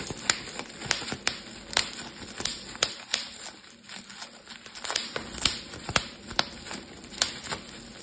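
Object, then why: Plastic bubble wrap sheet. A clear plastic bubble wrap sheet is crumpled while its bubbles are popped with fingertips and thumbs. About fourteen sharp, bright pops stand out over a steady crinkling rustle, each snapping off almost instantly, with the energy concentrated in the high range.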